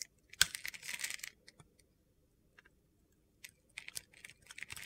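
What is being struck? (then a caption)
Bar of soap with glitter coating, cut with a knife blade. A utility-knife blade carves and scrapes flakes off a hand-sized solid white soap bar with a silver glitter coating. The result is bright, gritty, crunchy scraping and sharp clicky ticks, with a quiet pause between clusters of strokes.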